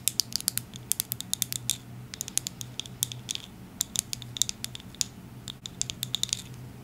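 Long acrylic nails tap and scratch a medium-size orange plastic Bliss bottle with a white cap. Dozens of short, dry, bright clicks and scratches come in quick irregular bursts, with a faint steady low hum underneath.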